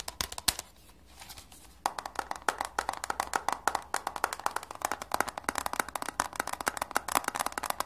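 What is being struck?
Cardboard eyeshadow palette case.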